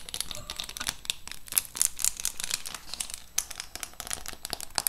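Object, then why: Clear plastic lid of a lip gloss set box. Long acrylic nails scratch and tap the clear plastic front of a large lip gloss set box, held at an angle over many gloss tubes. The result is a dense, bright crinkling scratch broken by quick, sharp ticks and clicks that die away at once.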